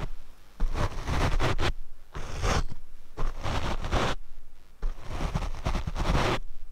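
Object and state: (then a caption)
Foam microphone windscreen brushed. A paint brush is brushed across the black foam windscreen of a Rode microphone. The result is a series of close, rough, scratchy swishing bursts, heavy in low rumble, separated by short quiet gaps.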